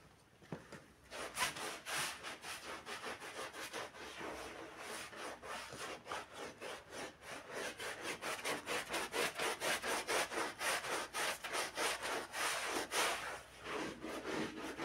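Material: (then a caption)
Carpet fibre. A gloved hand scrubs the edge of a wet, foamy black-and-red pile rug with a handheld green bristle brush. Quick back-and-forth strokes, about four a second, make a bright, raspy swishing that starts faint, then steadies and grows louder through the clip.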